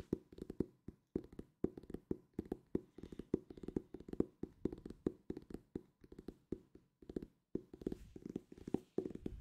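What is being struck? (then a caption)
Hardcover book with paper-covered board. A solid purple hardcover book with a paper-covered board cover is held in both hands close to the mic and tapped with fingertips and ringed fingers. About 46 quick, dry taps come in rapid bursts with short pauses between them. Each tap is a low-mid knock with a faint hollow tone and dies away almost instantly.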